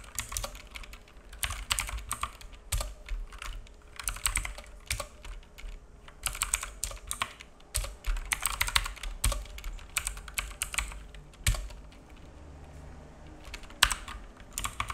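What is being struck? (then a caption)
Plastic mechanical keyboard. Fingertips of both hands type on a black full-size mechanical keyboard with plastic keycaps and a hollow case, resting on a wooden desk. Quick, bright, clacky key taps come in irregular bursts with short pauses, over a faint steady low hum.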